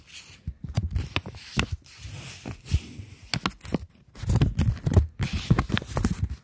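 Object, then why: Polymer banknote. A plastic polymer £20 banknote is held in both hands, folded and flexed, then tapped and scratched with long nails. Irregular dull thumps and crisp crinkling crackles come in clustered bursts, with brief bright scratchy hiss between them.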